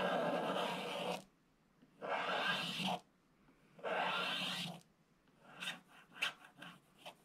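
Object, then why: Black-coated scratch-art paper page and thin wooden stylus. A thin wooden stylus scratches the black coating along the bottom right of a flat, coated scratch-art paper page in a scratch book, while the other hand holds the book flat. Three long, dry, rasping strokes with a bright, hissy edge are followed by a run of short, quick scratches that end in near silence.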